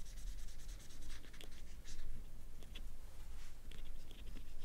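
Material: Banana peel.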